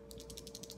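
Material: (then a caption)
Plastic. A liquid eyeliner tube, whose packaging says to shake it, is shaken to mix the liner before use, and the mixing ball inside rattles. The rattle comes as a rapid series of short, bright clicks, counted as about seven hits in under a second, over a steady low hum.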